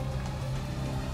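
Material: Nothing is struck.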